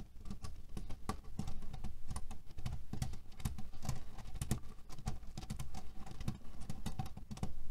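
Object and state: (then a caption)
Cotton pillow filled with cherry pits. Fingernails scratch quickly over a cotton canvas pillow filled with cherry pits. The result is a dense, rapid patter of short, dry rattling clicks with a low, muffled body and brief bright ticks on top.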